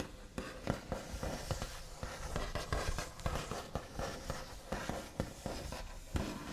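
The backs of the fingernails on both hands tap and trace across the large, solid, smooth top of a white-finished wooden table. Short, dull knocks stand out over a continuous scratchy rubbing, with most of the energy low and each tap dying away almost at once.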